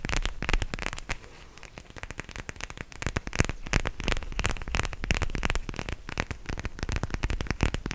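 A purple plastic eye mask filled with gel beads is held close to the mic and squeezed and scratched with fingertips and nails. It gives dense, irregular crackling with short, dry snaps. A brief quieter stretch comes near the start before the crackle builds again.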